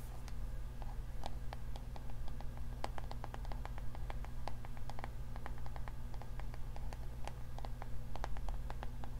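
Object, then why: Plastic paddle hair brush with bristles. A navy-blue plastic paddle hair brush with a yellow handle has its bristles scratched by long nails and its solid plastic back tapped. The result is a steady stream of short, sharp, bright clicks and ticks that die away quickly, over a constant low hum.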